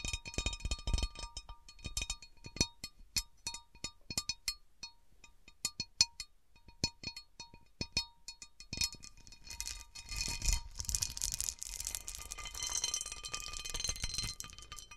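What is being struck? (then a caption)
Cut glass platter. Long nails tap the rim of a large, empty, round cut glass serving platter in a quick, uneven run of sharp clinks that leave a faint, steady glassy ring. Partway through, fingers scratch the textured underside as the platter is tilted, turning the sound into a dense, bright, hissing rasp.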